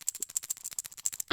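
A small glass abundance spell jar filled with loose items is shaken, and the contents rattle inside it. The sound is a quick run of light, bright ticks and patters, each dying away almost at once. It has no low end and ends in a slightly louder burst.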